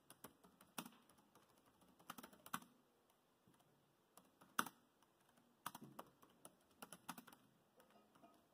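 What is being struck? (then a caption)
Plastic laptop keyboard keys. Fingertips type and tap on the plastic chiclet keys of a dark grey laptop, producing quiet, crisp clicks in irregular short bursts with brief pauses between them. Each click is dry and dies away almost instantly, with a light midrange tick and little low end.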